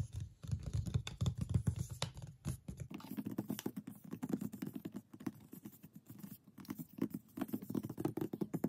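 Long painted nails tap rapidly on a large white printed Darling Lamp cardboard box that lies flat and closed. For the first three seconds the taps are dull and boomy; after that they turn into lighter, quicker clicks with a faint scratchy patter. Each tap dies away almost instantly.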